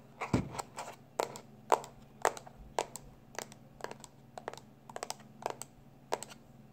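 A small black plastic external hard drive, held in both hands, has its flat labeled back tapped quickly with the fingertips and short nails. The result is an irregular run of short, dry clicky taps with bright edges over a faint steady low hum.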